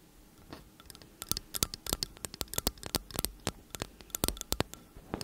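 Long acrylic nails tap and scratch rapidly along the hollow metal casings of two identical slim cylindrical t.bone condenser microphones held upright. The result is a quick, irregular run of sharp, bright clicks with very short ringing, plus faint scratchy scraping between them, over a low, quiet background hiss.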